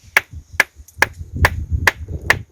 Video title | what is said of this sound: एक ऐसी माता जो भर देती है सुनी गोद। पत्थर से आती है घंटी की आवाज। INDIA EXPRESS 24 | पत्थर की ही आवाज़ आती है